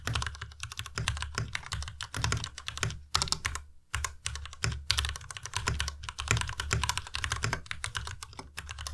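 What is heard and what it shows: Both hands type fast with their fingertips on a white plastic Ducky Miya Pro tenkeyless mechanical keyboard with RGB backlighting, in dim light. The result is a dense, rapid stream of short, dry keystrokes, each with a deep low thock and a bright click on top. There is a brief pause near the middle before the typing picks up again.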